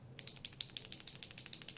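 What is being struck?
Liquid eyeliner bottle with a small mixing ball.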